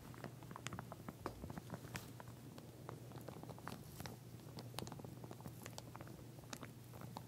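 A pink plastic wide-tooth comb lies flat inside a clear plastic sleeve while long nails on both hands tap and scratch along its teeth. The result is a quiet, steady patter of quick, dry clicks and crinkly scrapes with bright edges, over a low constant hum.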